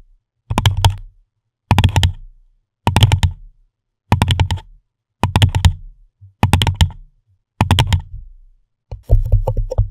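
An empty pink paper cup with a shell and dolphin print sits upside down over a microphone head and is tapped and scratched on its sides and base with the long manicured fingernails and fingertips of both hands. Eight short bursts of quick fingernail taps each make a deep, hollow thump near 100 Hz, layered with bright clicky ticks. The last burst turns into denser, continuous scratching.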